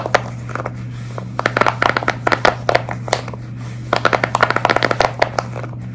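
Long red nails scratch, tap and squeeze-grip a large square tie-dye silicone pop-it fidget toy with hollow, flexible bubbles. Quick bright clicks and soft rubbery taps arrive in uneven bursts with short pauses between them. A steady low hum runs underneath.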